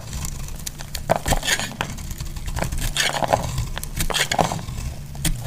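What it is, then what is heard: Bar soap being shaved. A hand-sized solid pink bar soap, held in the hand, is shaved with a utility knife blade. Short, crisp scraping crackles and crumbly cracks come one after another over a steady low rumble, with bright flecks on each cut.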